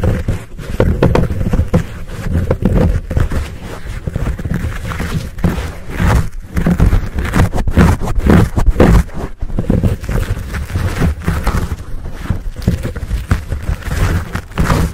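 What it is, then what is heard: Foam microphone windscreen being scratched and squeezed. Fingertips and short nails scratch a fuzzy black foam windscreen on a Blue Yeti microphone while palms squeeze it. The result is a close, continuous, muffled rubbing and crackling dominated by deep low rumble, with rapid scratchy bursts and almost no high content.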